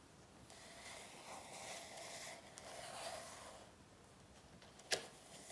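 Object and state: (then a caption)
Paperback workbook. Long nails on both hands scratch and tap across the glossy front cover of an A4 paperback workbook lying flat on a table. Soft, bright rustling scratches rise and fall for several seconds, with a faint tone around 600 Hz, before one sharp, crisp tap stands out near the end.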